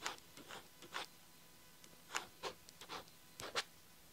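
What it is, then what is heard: Pen writing on a paper page. A blue ballpoint pen tip writes across the lined page of an open paper diary lying flat, while fingertips hold the page edge. It makes quiet, bright, scratchy strokes in short bursts separated by brief silences, with little low-end weight.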